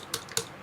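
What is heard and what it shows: The plastic drive shaft coupling on the axle of an RC Adventure MN 128 car is tapped three times to check whether it is metal or plastic, giving short, dry, high clicks with almost no ring. The coupling turns out to be plastic; only the axle and gears are metal.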